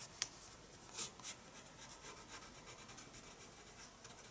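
A pencil makes quick hatching strokes on the paper of a spiral sketchbook. There is a soft, bright, scratchy rasp with a sharp tick near the start and a couple of louder strokes around the one-second mark. After that, a steady run of quieter, rhythmic scratches continues to the end.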